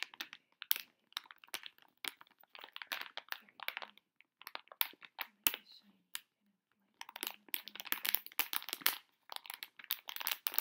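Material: Metallized plastic.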